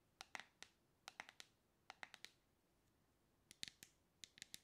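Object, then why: Plastic cosmetic cream jar with lid. Long red-painted nails tap and click on the lid and sides of a medium dark plastic cosmetic cream jar with a black lid and purple label, held in one hand. About 17 short, bright clicks come in small bursts separated by brief pauses. Each click is dry and dies away almost instantly, with almost no low end.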